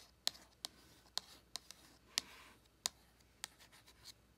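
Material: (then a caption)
Cardboard. Long acrylic nails tap and scratch the front of a closed, small, flat printed cardboard eyeshadow palette held in hand. About eight sharp, bright clicks come at uneven intervals, with soft scratching between them. The taps stop dead with no ring, and the whole sound is quiet and high.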